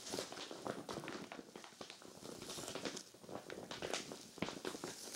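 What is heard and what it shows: Hands with long glitter nails scratch and pat a clear vinyl zippered storage bag full of cream knit sweaters. Dense, crinkly plastic rustles are broken by sharp taps, bright and brief with almost no low end.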